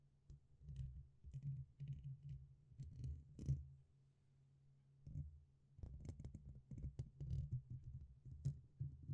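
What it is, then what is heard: Metal microphone grille. Fingertips tap and poke the top and sides of the black, hollow, dome-shaped metal mesh grille on a red USB condenser microphone. The result is a run of close, dull, bass-heavy thumps with faint bright clicks on top, a brief quiet pause around the middle, then quicker tapping that resumes to the end.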